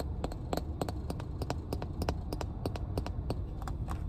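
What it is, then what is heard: Plastic water bottle tapped with nails. Long nails tap the cap and ridged body of a full, clear plastic water bottle in quick, light, irregular clicks with very short ring. A steady low rumble sits underneath the taps throughout.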